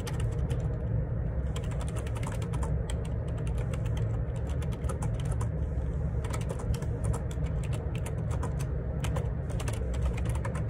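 Fingertips type rapidly on the plastic keycaps of a black wireless Bluetooth Perixx Periboard 612 ergonomic split keyboard with a hollow plastic housing, lying on a grey laminate desk. A dense, continuous stream of light clicky key taps with bright edges rides over a steady low rumble that dominates the sound, at an even level throughout.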